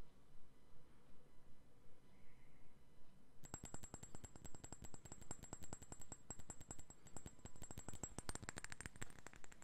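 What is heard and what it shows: A clear rectangular glass perfume bottle with a cap, hollow and partly filled, is held in one hand and tapped with the fingertips and nails of the other. After about three and a half seconds of near silence, a fast, fairly steady run of quick, dry taps begins and continues to the end. Each tap has a low knock and a thin, bright high ring that dies away almost at once.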